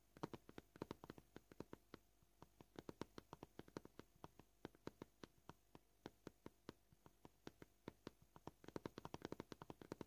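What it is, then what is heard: Plastic cutting board. Short purple nails tap a solid white plastic cutting board in a steady stream of about 61 quick, dry clicks at a gentle, varying pace, speeding into denser bursts near the start and end. Each tap is sharp and dies almost instantly, with a faint low hum underneath.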